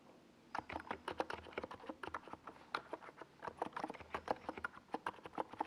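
Fingertips type slowly on a small NiZ Plum Atom 68 mechanical keyboard with a white plastic case and purple and yellow plastic Domikey Gas Attack SA keycaps, resting on a desk pad. After a brief quiet start, a steady run of short, clacky keystrokes follows, each a crisp mid-pitched plastic tap that dies away almost instantly.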